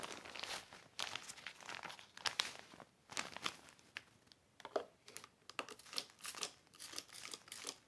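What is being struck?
Heavy plastic sheet.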